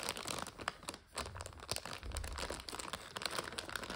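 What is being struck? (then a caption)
Plastic bag of dry egg noodles. Hands squeeze a full 400 g plastic bag of dry egg noodles while long nails scratch it, making the plastic crinkle and the noodles crunch. The sound is a steady stream of bright, sharp crackles with brief louder snaps and a low rustling rumble underneath.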